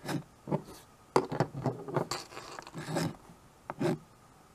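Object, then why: Small chalkboard with wooden frame, chalk. White chalk held in the fingers writes on a small handheld chalkboard with a wooden frame, making short, dry scratching strokes across the board surface. The strokes come in quick bursts with brief pauses between them, with some brighter, raspier bursts mixed in.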